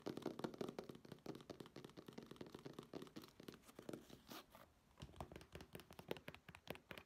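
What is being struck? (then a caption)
Fabric clutch bag. A black fabric clutch bag is held up and scratched with long nails along its surface and edges. The result is a quiet, dense run of rapid, dry scratches and light taps with no ring, steady throughout with one brief lull near the end.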